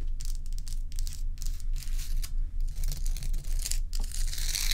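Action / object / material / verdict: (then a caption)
scrape / large ice block / ice / none. Long acrylic nails scratch and tap the sides and top of a large, solid, bowl-shaped block of ice, while loose ice cubes sit untouched at its edge. Quick bursts of bright, rasping scratch noise repeat at a fairly steady pace over a constant low hum, with short dry taps that die away almost at once.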